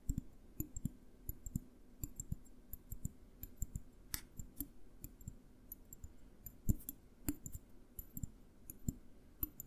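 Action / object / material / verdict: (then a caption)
tap / small glass jar with lid / glass / none. A small clear glass jar with a green label and lid is held in the hands and tapped with fingertips and nails close to the recorder. Dozens of quick, dry clicking taps follow in an irregular rhythm, each a soft low thud topped with a faint bright tick that dies away at once. The occasional nail tap lands sharper and louder.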